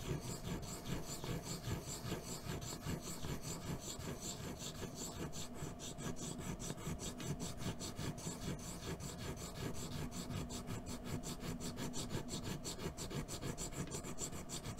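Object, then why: Ink stick rubbed on a stone ink stone. A small rectangular black ink stick, held in the fingertips, is rubbed in circles against the wet grinding well of a round, dark, solid ink stone that rests on a black tabletop while the other hand steadies its rim. The result is a continuous, gritty, rasping rub, weighted toward the low end, with a steady pulse of circular strokes running at an even level throughout.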